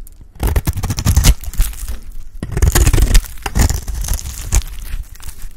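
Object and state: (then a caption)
Dry bar soap being scraped. A blade scrapes and cuts pieces off a solid dry yellow Lifebuoy bar soap. The result is a run of dry, crackly scraping and crumbling bursts with short pauses between them, heavy in low thuds and with no ring after each cut.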